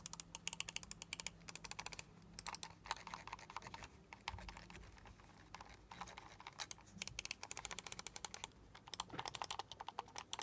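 A small, hollow black plastic gaming mouse with crackle-pattern RGB lighting is held in both hands while fingertips and short nails tap quickly on its shell and click its buttons. The result is fast bursts of dry, bright clicks and taps that stop almost instantly, broken by a few short quieter stretches.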